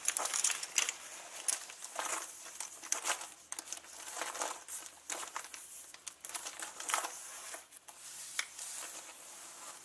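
Fingernails and fingertips scratch and rub the pockets and zipper pulls of a turquoise leather handbag, first held up close and then lying flat. The result is a steady run of bright, dry crinkling and scratching with short, quick-fading scrapes and almost no low end.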